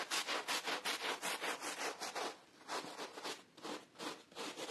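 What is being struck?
Pile carpet scrubbed with a bristle brush.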